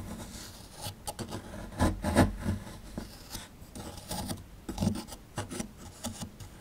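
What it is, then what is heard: Plaster fossil dig block being scraped. A small chisel scrapes and digs into the chalky surface of a small, solid plaster fossil dig block, working beside the skeleton relief. About 11 short, irregular gritty scrapes and rubs are heard, mostly low and dry with little ring. A faint bright hiss runs between them.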